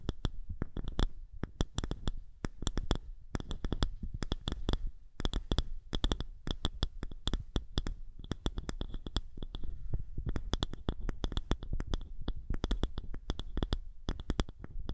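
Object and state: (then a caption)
Round wooden disc. A small, thick, polished round wooden disc is held over a microphone and scratched with the long nails of both hands. The result is a dense, continuous run of quick scratching taps, with deep muffled thumps underneath and short bright clicks on top, and brief pauses between bursts.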